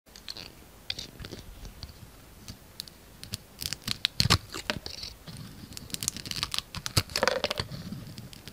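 A yellow utility knife blade shaves and scrapes a palm-sized solid oval bar of soap, grey with a turquoise outer coating and a white core, held in one hand, peeling the surface into curls. Crisp, bright scraping and shaving strokes come in quick irregular bursts. Each stroke has a dry, grainy rasp that stops almost instantly.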